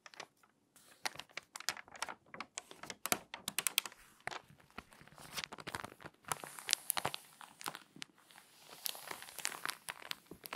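Hands with long nails flip the pages of an open glossy paper magazine and press the spread flat. The result is a dense run of crisp, crinkly rustles and sharp paper snaps, bright and with almost no low end. A denser, hissier crinkling passage sets in near the end.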